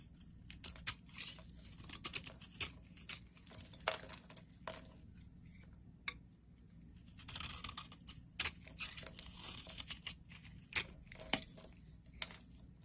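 A solid pink oval bar of soap, held in the palm, is scraped and shaved with a metal blade, and powdery flakes fall away. Many quick, dry, crunchy scrapes come in bursts, bright and crisp above a low steady hum.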